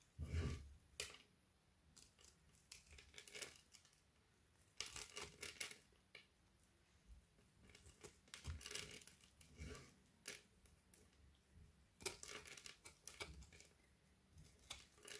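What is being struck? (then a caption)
Frozen soap bar. A hand-sized solid white bar of frozen soap, held in one hand, is scraped and carved with a small kitchen knife, shaving off brittle flakes. Short bursts of dry, crackling scraping with bright, crisp edges come in irregular clusters, separated by quiet pauses.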